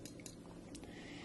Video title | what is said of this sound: Microtech Socom Elite Tanto | not fit very well in that hole so that it rattles around. And if you shake it or tap it, you can hear it rattle.